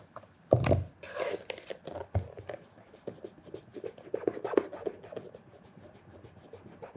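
Cloth-wrapped fingertips rub the surface of a hollow black polished leather loafer with a leather sole, working near the toe and the heel. There are soft, dry scratching swipes in quick, uneven strokes, with a heavier low brush early on, then steady quiet rubbing that fades toward the end.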